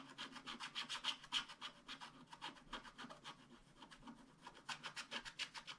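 A wooden stylus scratches the black coating of a flat scratch-art paper card in rapid, fairly regular strokes, about 28 in all. Each stroke is a short, dry, bright rasp with almost no low end, and the strokes briefly thin out around the middle before picking up again.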